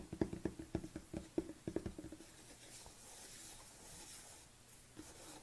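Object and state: Plastic supplement tub.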